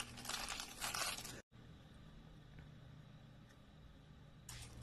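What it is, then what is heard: Dry soap curls being crushed. Thin curled shavings of dry light-green soap are crumpled and broken between the fingers of both hands, giving dense, bright crackling crunches for about a second and a half. A sudden silence follows, then a low, quiet hum until another short burst of crunching at the end.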